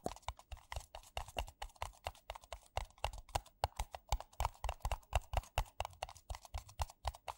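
Fingertips and nails tap quickly on two identical empty white paper coffee cups, which are hollow and thin-walled. The result is a rapid, uneven patter of short, dry taps, each a soft hollow low thump with a brighter click on top. The taps stop dead with no ring.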